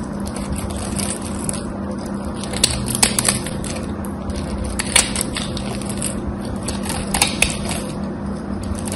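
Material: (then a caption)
Soap. A small knife blade, held by a hand with long white nails, carves and shaves a solid, dry bar of gold-coated soap with a cream interior and gold edges. A steady, soft, crunchy scraping runs over a low, constant hum, broken by brief, bright crackles and snaps around the third, fifth and seventh seconds.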